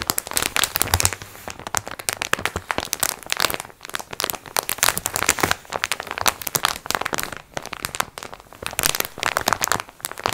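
A plastic-wrapped multipack of sponge cloths is held up in both hands while long nails squeeze and scratch its crinkly clear plastic wrap. Dense, bright crackling and crinkling carries on throughout in irregular bursts with short pauses, sharp little snaps over a thin low bed.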